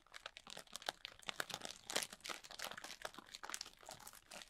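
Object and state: Plastic bag of foam beads.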